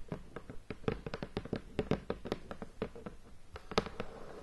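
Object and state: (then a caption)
Shrink-wrapped cardboard board game box. Long painted fingernails tap and scratch the lid of a medium, hollow, rectangular cardboard Race for the Galaxy board game box, still in its plastic shrink wrap and lying flat on a bed. A quick, uneven series of short, dry, hollow taps with almost no ring comes through, with a faint scratchy rustle between them.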